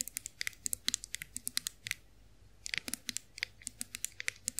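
Long nails tap the handle and ridged rollers of a chrome-finished face roller held in the hands, making 28 quick, bright metallic clicks with almost no ring. The tapping runs steadily, pauses briefly around the two-second mark, then resumes at the same pace.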